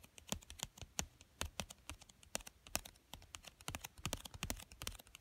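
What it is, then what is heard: Cardboard box tapped and scratched. A small, flat, hollow pink printed cardboard box for a children's card game lies on a fleece blanket while fingertips with short dark-painted nails tap and scratch its top surface. The result is a rapid run of dry, crisp clicks and scrapes with a bright edge and very short decay, over a soft low thump from the hollow box.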